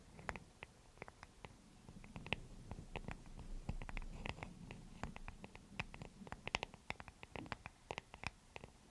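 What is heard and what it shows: A small, solid, light wooden paddle hair brush with bristles is held in the hands and scratched and tapped with long nails on its wooden back and bristles. Quick, sharp, bright clicks ring out over a soft, low scratching rustle. The taps stop almost instantly and come irregularly throughout the quiet clip.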